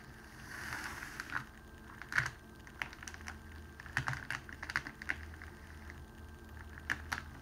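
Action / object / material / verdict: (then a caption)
scrape / cellophane wrapping sheet / cellophane / none. Fingertips press and slide along a folded clear cellophane wrapping strip on a table to flatten the fold. Sharp, bright crinkles and crackles pop out irregularly over a soft rustle, with a faint low hum underneath.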